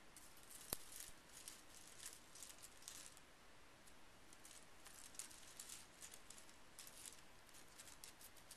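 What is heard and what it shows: Fingertips rake through a loose pile of small painted metal scrapbooking brads resting on a bamboo mat, so the pieces jingle against each other. The sound is a quiet, continuous patter of light, bright clinks with a soft rustling bed. One sharper click stands out near the start.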